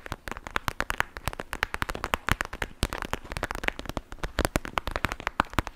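A clear plastic gel bead pouch is squeezed and crinkled by both hands with long nails. It gives a dense run of sharp, dry crackles and snaps with very short decay, centered around 1 kHz and edged with bright high clicks.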